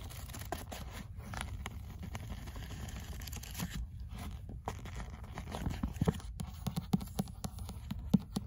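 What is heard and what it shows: Fingers riffle and flip the paper pages of an opened paperback book while nails touch its cover. A soft, steady papery rustle sits over a low rumble, with brief sharp ticks growing more frequent toward the end.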